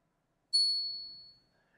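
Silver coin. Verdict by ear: Real.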